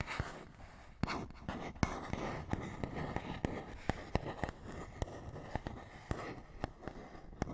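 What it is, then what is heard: Cardboard box, tapped and scratched. Fingernails scratch and tap on a small, hollow printed paperboard box. A soft, steady scratching rustle runs underneath around eighteen sharp, dry taps with a hollow, low-weighted thud that dies away almost instantly.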